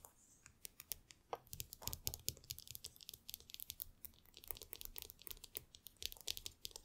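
Long nails tap and scratch the hollow aluminum ear cups of AirPods Max headphones lying on a table, with many metal rings on the fingers possibly adding clicks. Dozens of quiet, quick, bright ticks and scrapes follow one another with almost no ring, over a faint low rumble.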